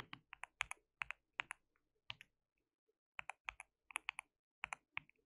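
Fingertips of both hands type on a white mechanical keyboard with plastic keycaps, producing about 22 sharp, bright plastic clicks with very short decay. The keystrokes come in quick bursts, with a brief quiet pause near the middle before typing resumes.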